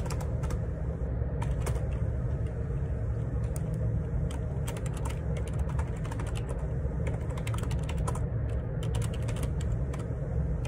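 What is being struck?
Plastic computer keyboard.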